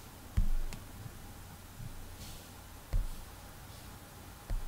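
A fingertip rubs soft sketch strokes across the glass touchscreen of an iPad resting on a desk and taps its menu buttons. Faint, quiet rubbing sits between a few dull, low thumps from the taps.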